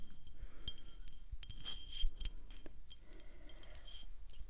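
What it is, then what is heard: Small glass wine bottle. Long acrylic nails tap and rub a full, small (about 187 ml) dark glass wine bottle with a gold screw cap and a paper label. Quiet, sharp clicks are scattered over soft, papery rubbing, with a steady low hum underneath.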